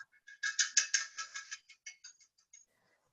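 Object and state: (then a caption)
Ceramic piggy bank. A ceramic piggy bank, made of pot, is tapped several times in quick succession. Each tap gives a short, bright, tinny clink with a high ringing tone that dies away almost at once. The taps grow fainter toward the end.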